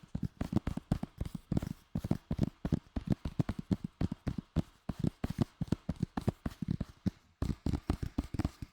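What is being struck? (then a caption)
Plastic DVD case. Fingers tap rapidly on a plastic Lord of the Rings DVD case received as a Christmas gift, producing a long run of short, dry, low-pitched knocks with almost no ring. The taps come in quick bursts with a brief pause near the end, and the sound stays mostly in the low range with little brightness.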